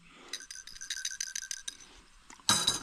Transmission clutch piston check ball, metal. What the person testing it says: you hear it rattling it's good